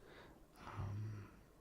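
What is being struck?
Nothing is struck.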